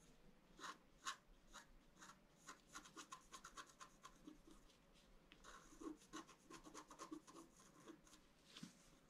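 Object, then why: Wax-coated scratch paper scraped with a bamboo stylus. A bamboo stylus scratches and rubs the black wax coating off a flat scratch art card, working in the tree area. It makes a quiet series of short, dry scraping strokes with crisp, bright edges over a faint continuous rasp. Midway the strokes turn faster and busier before easing off.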